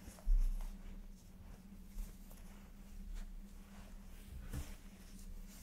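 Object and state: Nothing is struck.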